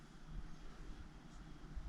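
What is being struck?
Nothing is struck.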